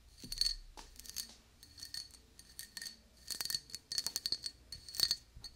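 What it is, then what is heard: Glass tumbler tapped with fingernails. A small, clear, patterned glass tumbler, hollow and empty, is held in one hand and tapped with long dark-painted nails. Irregular clusters of quick, bright clinks each produce a high glassy ping that dies away almost at once, with almost no low end.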